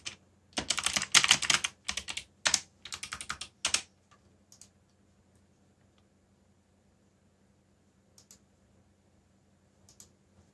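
Fingertips type on the keycaps of a backlit black plastic mechanical keyboard, producing quick bursts of bright, crisp clicks for about four seconds. The typing then thins to a few scattered taps over a faint low hum.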